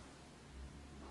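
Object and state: Nothing is struck.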